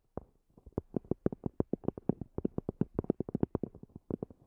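Long fingernails tap rapidly on the top of a small black zippered EVA hard-shell earphone case, a hollow, semi-rigid shell with a fabric cover. About 26 quiet, dull, hollow taps come in a quick, uneven run, each sitting in the low mids with no bright edge. Every tap stops almost instantly with no ring.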